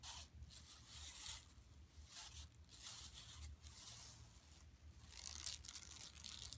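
Long nails scratch rapidly over the weave of a flat, empty, yellow woven plastic mesh tote bag lying on carpet. The result is quiet, bright, raspy scratching that comes in repeated swelling bursts with short gaps, plus a faint low rumble underneath.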